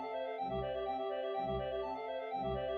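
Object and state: Nothing is struck.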